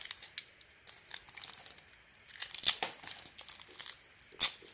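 A metal blade scrapes and carves slices from a solid soap bar with a gold glitter coating and a white core. The result is crisp, bright scraping and crunchy crackling in irregular bursts, with sharper, louder cuts near the middle and toward the end.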